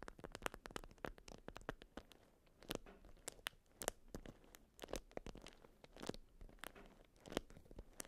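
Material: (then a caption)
Waxed cotton. A watermelon-print beeswax-coated cotton food wrap around a round item is scratched and tapped with long almond nails. Quick, dry, crinkly crunches and sharp taps come in rapid bursts with soft scratching between them. Each sound stops almost instantly, and the overall level stays quiet.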